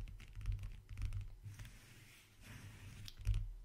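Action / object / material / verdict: tap / leather-covered wooden backgammon case / leather / none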